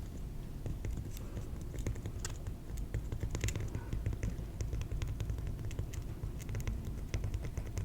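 A piece of cork is tapped rapidly and steadily, giving soft, dull, short taps with dry scratchy clicks and faint bright ticks over a constant low rumble. The taps die away almost instantly, and the level stays even throughout.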